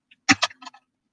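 Two glass beads are clinked together, giving a few quick, bright clicks and ticks that stop almost instantly with no lingering ring.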